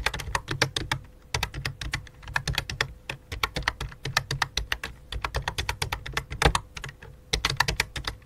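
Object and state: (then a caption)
Plastic computer keyboard. Fingertips with dark-painted nails type rapidly on a full-size white and light-blue plastic computer keyboard with a hollow plastic body, resting on a black cloth. A steady stream of dry, clacky keystrokes, each a bright click over a hollow low thump, dies away almost instantly, with brief pauses between bursts and a faint steady hum underneath.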